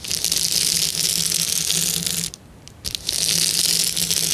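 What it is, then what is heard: Plastic bubble wrap. Fingertips rub and press on a clear plastic bubble wrap sheet, making a bright, dense crinkling and crackling rustle. The rustle breaks off for about half a second near the middle, with a couple of soft crackles, then resumes just as steadily to the end.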